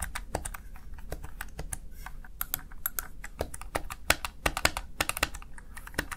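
The keys of a small backlit plastic Razer Tartarus Chroma gaming keypad are typed rapidly by fingertips. They make a quick, irregular stream of short, dry plastic clicks with bright tops and a soft low thump beneath.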